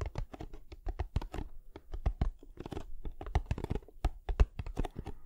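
Fingertips and nails tap and scratch the sides of a small, closed, hollow kraft cardboard box held upright beside the microphone. A rapid, uneven series of dull, hollow low thumps is heard, each dying away almost instantly, mixed with dry, scratchy ticks.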